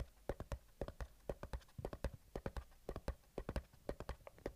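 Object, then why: Small cardboard box. Short fingertips and nails scratch and tap across the printed surface of a small, closed, hollow white cardboard retail box for i10 earbuds held in both hands. The result is a quick, uneven run of dry, sharply decaying taps with a low, hollow thump under each and a bright click on top, separated by soft scratching.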